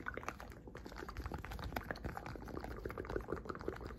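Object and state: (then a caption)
Silicone pop-it fidget toy. A blue, hand-sized hexagonal silicone pop-it fidget toy has its hollow bubbles pressed down with fingertips and nails. A steady run of soft, muffled pops and clicks overlaps, with some low rumble under them.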